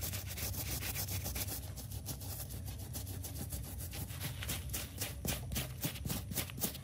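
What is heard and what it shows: Gloved hands scrub a dirty, wet, foamy stuffed cartoon-cat plush toy, with soft fabric over a solid stuffed body, using a stiff brush. Quick, uneven back-and-forth strokes, about three or four a second, make a steady wet, brushy rubbing with a heavy low rumble and a bright bristly hiss. The scrubbing swells a little louder toward the end.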